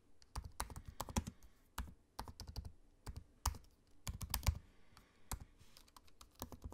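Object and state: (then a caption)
Laptop keyboard typing. Fingertips of both hands type on the low-profile black plastic keys of a space-grey aluminium laptop. Quick, dry clicks come in uneven bursts with soft pauses between, each keystroke a short tap with a low thump and a faint bright edge.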